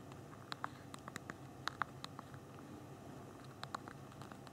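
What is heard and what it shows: Thumbs tap the small plastic keys of a handheld BlackBerry phone's physical keyboard while typing, producing about sixteen short, dry, bright clicks with a mid-pitched tick near 1.2 kHz. The clicks come in quick bursts, pause briefly in the middle, then resume over a faint low hiss.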